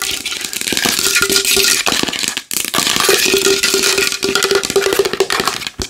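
A large wooden bowl is tapped fast and hard with long nails, giving a dense stream of bright, dry clicks over a hollow woody tone. The tapping stops briefly partway through, then resumes just as rapidly before ending abruptly.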